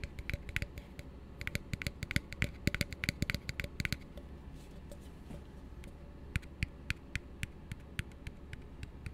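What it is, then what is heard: Plastic cup tapped with fingertips. An empty, hollow blue plastic tumbler held upside down is tapped and scratched with fingertips. A rapid flurry of short, dry clicking taps with bright, crisp edges fills the first four seconds over a low, steady hum. This gives way to softer scratching and then evenly spaced single taps that die away almost instantly.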